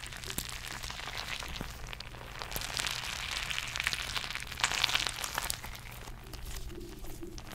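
A palm-sized purple squishy stress ball, with a soft rubber skin and glitter or beads inside, is held close to the mic and squeezed, tapped and scratched with long painted nails. The result is a dense, bright, crackly rustle of quick scratches and soft taps over a steady low hum, swelling slightly around the middle before easing off.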